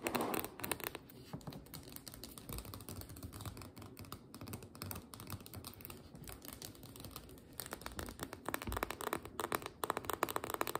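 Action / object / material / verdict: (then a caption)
tap / metal end cap of a biscuit dough can / metal / none. Long nails rapidly tap and scratch on the shiny metal end cap and rim of a small, sealed, full refrigerated biscuit dough can held upright on its end. The quiet, dry clicks are short and clustered, with a brief scratchy rasp at the start. The tapping grows busier and louder in the last few seconds.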